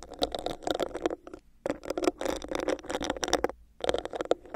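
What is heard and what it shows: Long nails tap and scratch a hollow, clear, bumpy plastic cup placed over a microphone. The result is a dense, crackly patter with a hollow midrange tone near 355 Hz and bright clicks. It comes in three bursts separated by short silent pauses.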